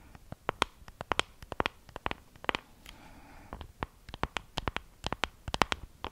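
Long acrylic nails scratch and tap a small, hollow pink plastic compact case with a wavy raised pattern. About two dozen crisp, bright clicks ring out in quick, uneven succession, and a short stretch of soft, steady scratching over the patterned surface comes in the middle. Each tap dies away almost instantly, leaving a dry, close clatter.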